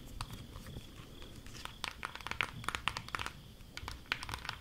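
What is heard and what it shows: Long acrylic nails tap and trace across a flat rectangular cardboard eyeshadow palette with a printed cover, held in both hands. Quiet, dry crinkly scratching gives way to a quick series of sharp, bright clicks that stop instantly with no ring, over a soft low rumble.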